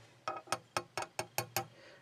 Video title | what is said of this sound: DID Winston Churchill | the base is metal let me tap it on something listen